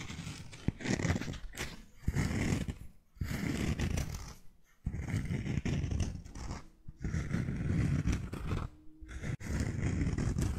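A single cork-soled sandal with a cork footbed and three buckled white straps is held in the hands, its footbed and straps scratched and tapped with long nails. Close, low-heavy rustling scrapes and soft taps come in bursts separated by brief pauses.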